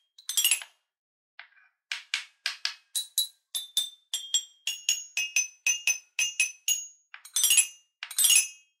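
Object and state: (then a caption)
Toy xylophone with metal bars. A wooden stick mallet with a red ball tip taps the five coloured metal bars of a small guitar-shaped wooden toy xylophone held in one hand. It makes a string of bright, short metallic tinks and clinks that die away almost at once, with quick rattling rolls at the start and end and single steady taps between them.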